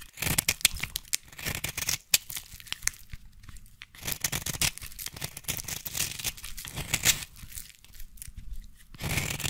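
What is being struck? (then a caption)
Solid bar soap. A solid red bar of soap held in the hand is carved with a small blade and then scratched with scissors. Dense bursts of bright, dry scraping and crisp crackling shavings run through the clip with brief pauses between strokes.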